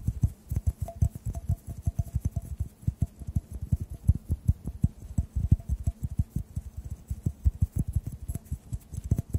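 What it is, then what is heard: Glass tube tapped. A clear, hollow, empty glass tube is tapped with fingertips while held over the microphones. Dozens of soft, rapid, dull taps sit low and muffled, each dying away almost instantly, with a faint higher ring behind them.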